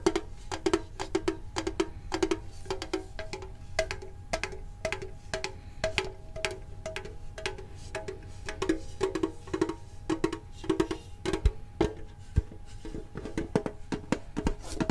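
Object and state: Printed metal card tin.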